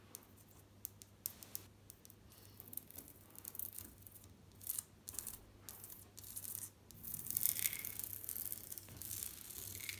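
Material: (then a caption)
Ceramic. Long nails tap and scratch across white glazed ceramic bathroom wall tiles with a mosaic border, flat and solid. Quiet, dry, bright clicks come at an irregular pace, mixed with short rasping scratch bursts that swell louder toward the end. A steady low hum runs underneath throughout.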